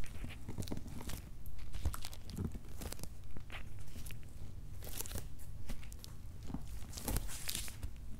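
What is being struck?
Corrugated cardboard box.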